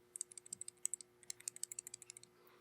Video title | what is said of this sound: BUYER BEWARE! Dominican AP Yellow Tips - .50BMG Series | If you hear that, that's the sound of the core and the jacket hitting up against each other, which is a very bad sign.